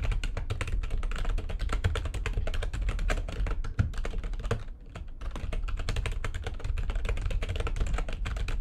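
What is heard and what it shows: Fast typing on a full-size, low-profile, backlit plastic computer keyboard resting on a desk, its keys struck by fingertips with long nails. A dense, steady stream of clicky keystrokes carries a deep, boomy low end, with a brief pause just before the five-second mark before the typing resumes.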